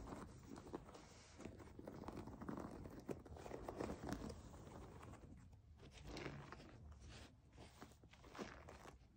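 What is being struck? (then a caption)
Plastic foam bath pillow. Long nails tap and scratch the textured back of a white plastic foam bath pillow with clear suction cups, lying flat. The result is a quiet, continuous run of soft crinkly taps and scratchy rubs, dull and mostly low-to-mid in tone with little brightness.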